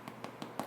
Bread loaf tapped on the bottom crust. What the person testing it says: if you can tap your bread and it sounds hollow it's done